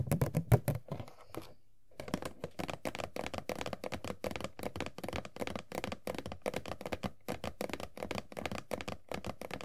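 Long nails tap and scratch on the top of an empty cardboard Funko POP box for Sailor Jupiter, which has a window opening. A few louder taps open the clip, then after a brief pause near two seconds comes a steady run of quick, dry, short taps with a light scratchy texture.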